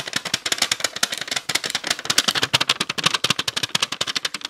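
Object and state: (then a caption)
Clear plastic tub. A small heart-shaped clear plastic tub with purple slime inside is tapped and scratched rapidly with long nails. The result is a fast, dense stream of about 30 crisp, bright clicks and scratchy taps, each dying away almost instantly, with very little low end.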